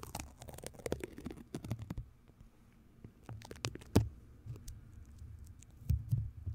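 Long nails and fingertips tap, scratch and rub across the hollow, rounded metal mesh grille of a large white studio microphone, which possibly has sticky tape residue on it. Irregular soft taps and crackly, sticky scratches sound close and muffled, with a deep, boomy low end and short bright ticks. A few louder thumps stand out near the middle and end.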